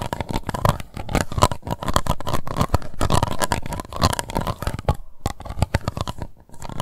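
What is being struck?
Plastic cup.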